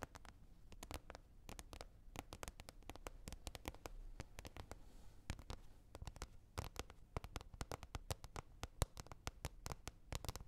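Fingers tap repeatedly on a lid, producing a dense, irregular stream of quick, dry taps with very short decay. The sound is quiet and weighted toward a low, dull thud, with little high-frequency brightness.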